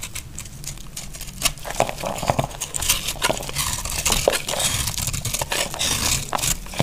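A small sharp knife slices and scrapes a solid bar of dry, crumbly green soap held in the hand, shaving off crunchy flakes. A dense run of crisp, bright cracks and scratchy crunches repeats steadily over about seven seconds, each snap short and dry with almost no ring.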